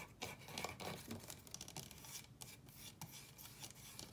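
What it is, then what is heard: Wooden drawer cabinet scratched with nails. Fingernails scratch and rub across the wooden top and frame of a small wooden chest of drawers with painted ceramic drawer fronts. The result is a quiet, dry, bright scraping texture made of quick, irregular strokes that stop short with almost no ring.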